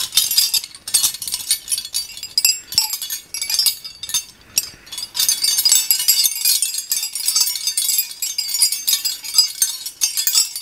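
A ring of long, solid old iron skeleton keys is handled with the fingers, dangled and shaken so the keys clink against each other. Bright, high metallic clinks come in short bursts with brief pauses for the first half. They then become a steady, dense jangle, each clink dying away almost at once with no low end.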